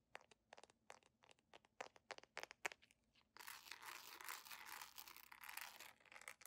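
Long nails scratch and rub a beige jelly plastic sandal across its footbed, bow and sole edge. Quick, dry, bright scratchy clicks come in an uneven run for the first three seconds, then give way to a steady, dense, hissy rubbing that carries on to the end with no low end.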